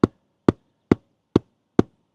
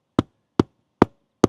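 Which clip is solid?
The second.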